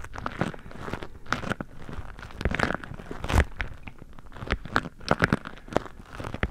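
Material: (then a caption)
Waxed cotton. Fingertips squeeze and crinkle a beeswax-coated cotton food wrap covering the microphone, pressing at the sides of the waxy cloth. Close, irregular crackles and crinkly snaps come in quick bursts over a soft, muffled rustle, heavy in the low end with short, sharp clicks that die away at once.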